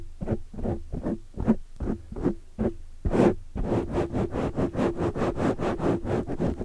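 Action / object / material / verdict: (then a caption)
scrape / foam microphone windscreen / foam / none. Long dark nails scratch and grip a large black foam windscreen over a microphone. Separate muffled, rustling scratch strokes come first, then a denser run of quicker scratching, all low and mid in tone with almost no bright content.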